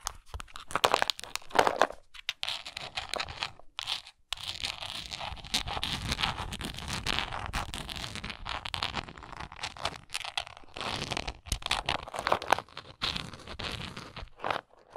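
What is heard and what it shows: Long nails scratch the side and edges of a hollow, textured, translucent plastic Tums tablet bottle as it is tilted in the hand. The result is dense, crunchy, bright scratching in short bursts and sustained rasps, broken by brief silent pauses.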